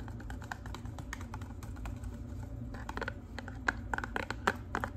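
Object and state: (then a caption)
Cardboard hair dye box. Long pink nails tap quickly on a hollow pink and white cardboard hair color box, held beside the face with its top flap open. The taps are short, dry and clicky with almost no ring, a few louder bright ones standing out over a steady low hum.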